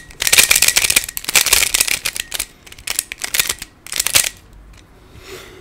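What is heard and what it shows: Fingertips twist the layers of a hand-sized black plastic Pyraminx, a pyramid twisty puzzle with coloured stickers and a hollow mechanism. The result is rapid bursts of bright, dry plastic clicking and shuffling, with short pauses between turns. The sound fades to a faint rustle at the end.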